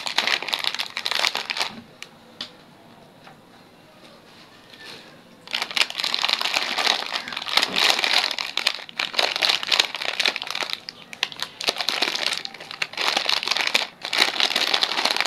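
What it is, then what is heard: Crinkled metallized plastic snack bag. A small, sealed purple 3D Bugles snack bag made of metallized plastic film and full of snacks is held in both hands and crinkled and squeezed with the fingertips. Bright, crackly crinkling comes in dense, irregular bursts, with a near-silent pause from about 2 to 5.5 seconds. Steady, louder crinkling then continues to the end.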